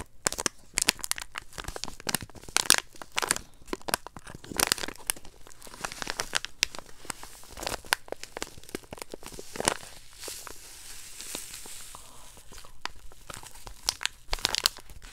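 A small, flat, printed blue plastic/foil Fun Dip candy packet with candy inside is held in both hands and crinkled and squeezed by fingers with long acrylic nails. The result is a dense run of bright, crisp crinkles and crackles with sharp snaps and tearing-like rustles that stop almost instantly, over a quiet low hum.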